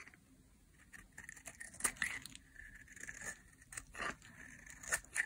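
A utility knife blade carves curled slices off a small, solid, oval, cream-white bar of dry soap held in the hand. The result is a series of irregular, crisp scraping and crunching cuts with a bright, papery edge. Each stroke ends quickly, with quiet pauses between them.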